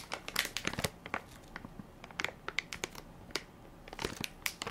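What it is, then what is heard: Plastic baby wipes pack. A full, soft plastic-film baby wipes pack with a plastic lid is held in one hand while fingertips and nails crinkle and tap its film top. Bright, dry crackles and sharp little clicks come in quick irregular bursts, with brief quieter gaps between them.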